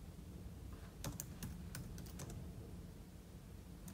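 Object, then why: Laptop keyboard with plastic keys in an aluminum body. Fingertips type on a silver aluminum laptop keyboard with plastic keys, producing an irregular run of short, bright, crisp key clicks. A steady low hum sits underneath throughout, and the clicks stay quiet and soft overall.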